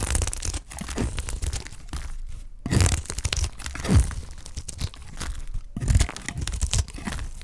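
A utility knife blade shaves a solid, pale cream, dry white soap bar held in the hand into flakes. The result is a dense run of dry, crackling, tearing scrapes with a low, thumpy body and brief bright crinkles, swelling in a few louder strokes around the middle and end.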